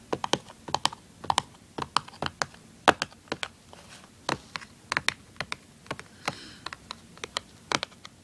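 Fingertips tap and scratch the surface of a small, hollow, printed cardboard tuner package. The result is an irregular run of short, dry taps with quick, bright attacks that die away almost instantly, with faint scratchy rustles between them.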